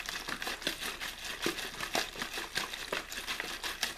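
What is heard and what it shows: An empty, hollow, clear plastic water bottle with a blue label is held in one hand while the fingers repeatedly squeeze and crinkle it. The result is a steady stream of bright, crackling crinkles with brief sharper snaps and almost no low end.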